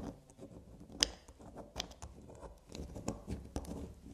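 Long black nails tap and scratch a small, solid black soap bar lying on a fabric surface. The result is a quiet, bright patter of soft scratching with quick, dry taps, one sharper click standing out near the one-second mark. Each hit dies away almost instantly.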